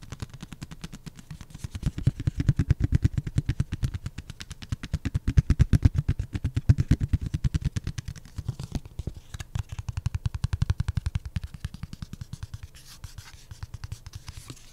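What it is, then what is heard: Cardboard coaster. A thin, solid Black Raven printed pulpboard beer coaster is held in the hand while fingertips and nails tap and scratch its edge and face. The result is a fast, uneven stream of short, dull, low thuds around 100 Hz, each dying away almost instantly. A faint papery scratching runs underneath.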